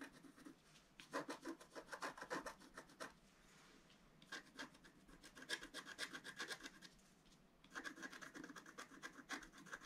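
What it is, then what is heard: Scratch-art card being scratched. A wooden stylus scratches the black coating of a flat scratch-art paper card, working over the yellow flower and its centre. Three bursts of rapid, raspy back-and-forth strokes, bright and dry with no ring, are separated by short, quieter pauses.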